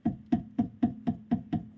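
The left side of the steering rack on an Audi A6 C5 is struck repeatedly at an even pace, giving short, dull, hollow taps with a low tone and almost no ring. The specific knock is absent on this side, so it sounds normal.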